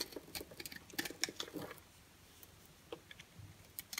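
A rectangular orange-and-white striped bar of dry, solid soap held in the hand is scraped with a green-handled box cutter blade, and flakes and powder fall onto a white surface. The scraping makes quick, dry, bright crackling and scratching ticks, busier in the first half and then thinning to sparse scrapes over near-silence.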